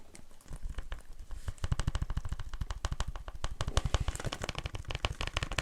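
Fingers tap on a cracked plastic Blu-ray case of the horror film "It", producing a rapid run of short, dull, low-heavy clicks that start faint and grow louder and denser. Because the case is a little broken, a loose piece gives the taps a slight ring, so they don't sound as clean as they should.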